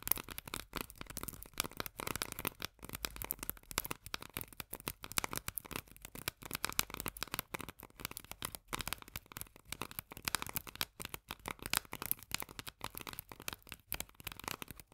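Long nails tap fast on the paper-labeled body of a small, full steel can of corn lying on its side. The result is a quiet, continuous stream of dense, bright clicks with a crinkly, papery edge. Each tap dies away almost instantly, with little low-end body.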